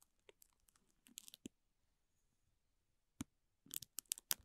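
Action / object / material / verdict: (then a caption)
scrape / thin plastic wrapper film / plastic film / none. A bristle brush strokes and scratches the crinkly film of a clear plastic wrapper around a small green toy. Quiet, bright crinkles and sharp scratchy rustles come in short bursts, then near silence for a moment. A single crackle is followed by a denser flurry of louder crinkling at the end.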